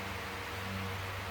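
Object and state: Nothing is struck.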